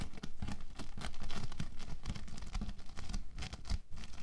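Fingertips scratch across a flattened sheet of orange bead foam clay (playfoam) on a white table and gather it into a loose heap. The result is a steady run of dense, rapid crackling and gritty scratching with a dull, low-heavy tone and brief dips between strokes.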